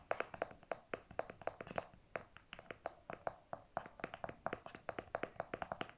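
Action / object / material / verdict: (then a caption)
tap / hard plastic flip cap of a squeeze tube / plastic / none. Natural fingernails tap and scratch the hard clear or white plastic flip cap on the end of a pink conditioner squeeze tube, held at an angle over fabric. The result is a quiet, irregular run of quick, dry, bright clicks with a clear tone around 680 Hz that dies away almost instantly, with faint scratchy texture between taps.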